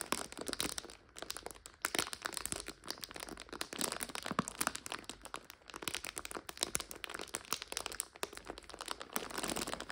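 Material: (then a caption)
Plastic. A clear plastic bag full of dried egg noodles is held in both hands while fingers and long nails squeeze and scratch it. The result is a dense, continuous stream of bright crinkles and brittle crunches with very little low end, rising and falling in loudness throughout.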